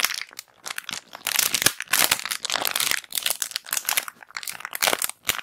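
A small, clear, thin-plastic bag of round white cotton pads, not sealed full, is crinkled and squeezed with long black acrylic nails and fingertips close to the recorder. The result is dense, bright, crisp crinkling in quick bursts with brief pauses between them. The sound has almost no low end and dies away instantly.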